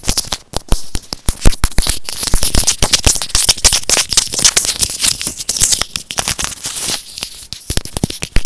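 A small white plastic earphone inline microphone housing, held in the fingers, is tapped and scratched with short nails. It makes a rapid, dense run of close, crackly clicks and taps with deep thumps and bright scratchy hiss, each tap dying away almost instantly.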